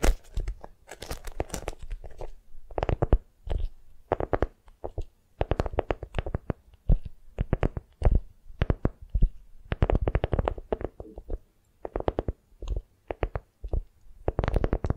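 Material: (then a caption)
Waxed cotton. A printed beeswax-coated cotton food wrap is folded tightly around a soft foam cheese-block squishy, forming a small package held in both hands. Long nails squeeze, grip and scratch the waxy fabric in quick, irregular bursts. The result is dense crinkly, sticky rustling with a soft, low-weighted body, broken by brief pauses.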